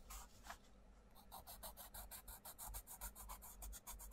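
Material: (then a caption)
Paper. A wooden coloured pencil scratches and rubs across a mandala page of an open paperback colouring book lying on a table, while the other hand holds the page flat. The result is a quick series of short, bright, raspy strokes over a steady low hum, with a brief quiet pause near the start.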